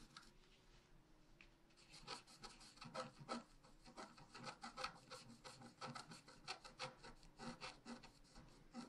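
A wooden stylus scratches near the bottom of the design on a flat, black-coated scratch art paper sheet. Soft, quiet rubbing in the first two seconds gives way to a steady run of short, raspy scratching strokes with a bright, dry texture. The strokes stay close and quiet throughout.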